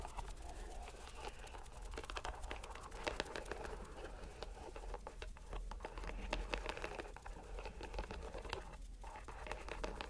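A fist-sized, soft green rubber stress ball in a white string net is squeezed and rubbed by fingers and a palm. It makes a steady stream of soft crinkling, squishing and crackling rubs, dotted with quick little ticks, over a low background rumble.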